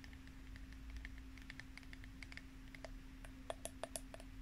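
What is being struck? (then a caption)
Small plastic spray bottle. Long nails tap rapidly on the body of a small clear plastic spray bottle with a pink pump cap, held in both hands. The quick, light clicks sit over a steady low hum, and a few sharper, louder taps come near the end.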